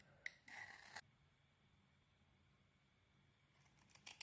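A steel utility blade scrapes the metallic bronze heart-patterned coating off a solid rectangular white bar of soap held in the hand, shaving the soap. A sharp tick is followed by a bright, rasping scrape for about half a second, then a long near-silent pause before a few short, crisp scratches at the end.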